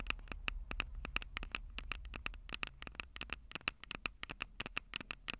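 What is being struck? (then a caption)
Metal mesh microphone capsules of a handheld recorder. Long purple acrylic nails tap and scratch the two small crossed metal mesh microphone capsules on the hollow plastic body of a Tascam DR-05 handheld recorder. A rapid, uneven series of sharp, dry clicks with a bright ring around 2.7 kHz dies almost instantly, with soft scratching between taps over a steady low rumble.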